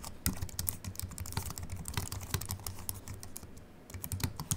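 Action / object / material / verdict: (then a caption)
tap / low-profile keyboard with aluminium body and plastic keys / aluminium, plastic / none. A compact Apple keyboard with a silver aluminium body and white plastic keys, resting on a wooden desk, is typed on with the fingertips of both hands. A steady run of quick, light key taps gives short bright clicks over soft low thuds, each dying away almost instantly.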